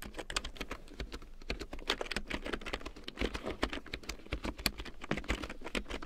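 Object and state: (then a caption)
Plastic keyboard being typed on. A full-size large-print keyboard with a black plastic frame and big yellow plastic keycaps, lying on faux fur, is typed and tapped on with long painted nails and fingertips. A fast, steady run of sharp, bright plastic clicks and clacks fills the clip, each one dying away almost at once, over a faint low hum.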